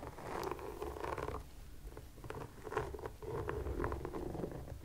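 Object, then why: Rubber sneaker sole. Long nails scratch and tap the textured rubber sole and sidewall of a white sneaker as it is turned. The result is a soft, muffled mid-range rasping broken by dull, short taps, with almost no high-frequency brightness.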